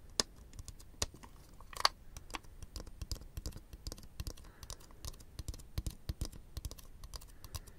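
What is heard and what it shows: Fingertips click and press the parts of a small, colorful plastic fidget toy with rings and bubbles, held in both hands near the microphones. The result is a rapid, irregular run of short, dry clicks like typing on a keyboard, with a few sharper, brighter snaps standing out.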